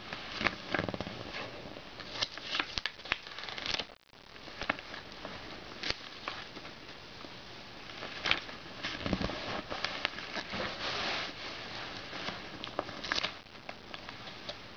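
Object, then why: Glossy paper magazine pages. Fingers turn and rub the thin pages of an open glossy paper magazine lying on a bed. Dense, bright, crackling paper rustle with many sharp little snaps, broken by a brief silence near four seconds. The rustling then continues steadily to the end.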